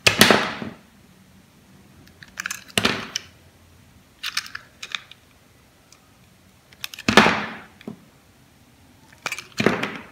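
A metal utility blade carves thin slices off the surface of a solid, palm-sized red oval bar of soap held in the hand. Each scraping cut is a short, crisp, bright rasp with little low end, followed by near silence. The cuts come in irregular bursts across the clip, some long and sweeping and others quick and clipped.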